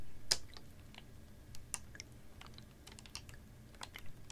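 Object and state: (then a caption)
Plastic water bottle. A capped, clear ribbed PET water bottle about half full of water is tilted and tapped with fingernails. Light, irregular clicky taps with bright, crisp edges sound over a soft low rumble, each fading quickly.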